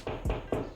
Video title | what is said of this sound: How To Install A Shelf On The Wall - DIY Lawn Guy | So the noise difference, this one's hollow, this one's not.